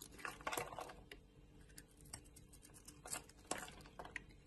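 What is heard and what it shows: A solid oval bar of soap, purple outside and white inside, held in a hand with long nails, is shaved with a utility knife blade. Quiet, dry scraping and cutting strokes come in bright, crisp bursts, with the strongest around half a second, three seconds and three and a half seconds, over a faint low hum.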